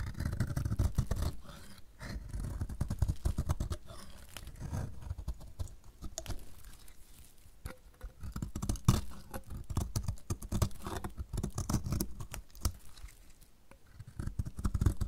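A metal utility blade shaves the edge of a solid, dry yellow bar of soap in repeated strokes. Each stroke gives a dense, dry scraping crackle, dull and heavy in the low range, with short crisp bursts that swell and fade across the clip.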